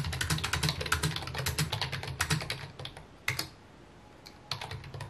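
Fingertips type quickly on a full-size white plastic computer keyboard with mint keycaps resting on a wooden desk. The result is a dense run of short, clacky key taps with bright clicks over a low thump. The typing pauses briefly near the end, with a couple of isolated taps, then resumes.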